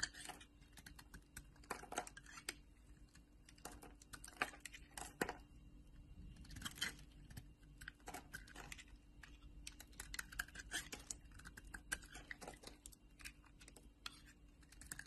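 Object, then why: Bar of soap shaved with a knife blade. A solid rectangular pink bar of soap, held in a hand with long painted nails, is sliced and shaved with a metal utility knife blade as flakes fall away. The clip is a quiet, steady run of crisp, brief scraping and crackling cuts with bright edges, each dying away almost instantly, and a few louder slices stand out near the start.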